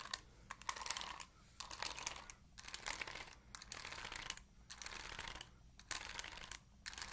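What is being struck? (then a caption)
Plastic paddle hairbrush bristles. Long nails scratch and flick the bristles of an oval plastic paddle hairbrush, making quiet, bright, crackly clicking and scraping. The sound comes in irregular bursts separated by brief pauses, with a faint low hum underneath.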